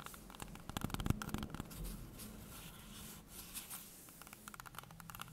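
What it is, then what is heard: Green apple tapped and scratched. A small, solid, whole green apple held in hands above a wooden table is tapped and scratched on its skin with long painted nails. Quick, irregular clicking taps give way to a softer, steady scratching in the middle, then the crisp taps return. The sound is quiet and close, with a dull low body and faint bright clicks.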